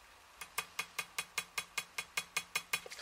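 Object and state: Hard cured dental composite strip.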